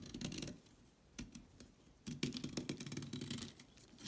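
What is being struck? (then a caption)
Stick of chalk scraped by a blade. A blade scrapes along the edge of a solid orange chalk stick, shaving off curled flakes. Dense, rasping scrapes with a low body and bright, crackly edges come in two active stretches, separated by a quieter gap with a few isolated scratches.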